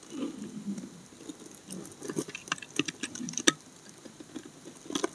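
A steel utility blade cuts and scrapes curled shavings from the edges of a solid brown laundry soap bar held in hand. Soft, muffled scraping alternates with a series of short, crisp clicks and snaps that have a dull low-mid body and bright, dry tops with almost no ring. The loudest snap comes about two-thirds of the way through.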